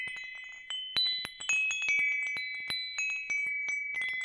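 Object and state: Metal tube wind chime.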